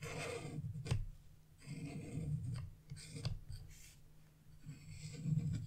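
A chisel vigorously scrapes the red fan section of a wax-coated scratch-art page, leaving crumbs of coating. Rough, low-heavy scraping strokes come in bursts with bright, hissy edges and a few sharp clicks, separated by brief quieter pauses.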